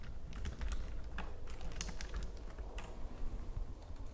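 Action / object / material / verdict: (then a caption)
tap / plastic computer keyboard / plastic / none. Long nails and fingertips, on hands decorated with gems, tap quickly across a white plastic computer keyboard. Fast, bright plastic clicks come in irregular bursts over a steady low rumble, and each tap dies away almost instantly.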